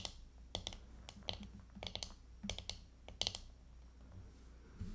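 Long painted fingernails tap the back of a small handheld hairbrush, a hollow plastic body decorated with glitter and coloured plastic, lying on a table. Quick, irregular, bright clicky taps sound at a quiet level, each dying away almost instantly over a faint low hum.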